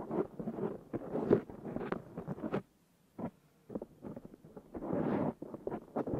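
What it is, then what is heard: Foam microphone windscreen being scratched. Fingernails of both hands scratch a black foam windscreen on a Zoom H6 recorder, making dense, close, muffled rustling and scraping bursts centered in the low-mids. The scratching pauses briefly near the middle, with one short scrape in the gap, then resumes in quick strokes and a sustained, brighter rub.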